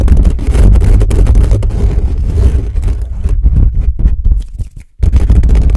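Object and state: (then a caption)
Metal microphone grille being scratched. Fingertips of both hands scratch and rub the bare metal mesh grille on the hollow head of a black condenser microphone. The result is a loud, dense, boomy rumble of fast scratching, almost all low end, that thins and drops away to near silence before abruptly resuming at full strength.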